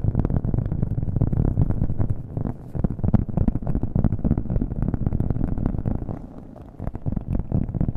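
A round, flat cork coaster held in the hand is tapped rapidly with fingernails, with an echo effect added to the audio. The taps run together into a dense, dull, low-heavy patter with almost no bright content. There is a brief quieter stretch just before the end.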